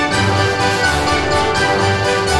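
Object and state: Nothing is struck.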